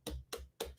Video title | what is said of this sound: 🍉 Juicing Watermelons 🍊🍍Day 4 of 21 of our January Juice Feast - Detox Class #78 | I want something that sounds kind of hollow when you tap it